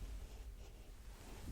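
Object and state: Nothing is struck.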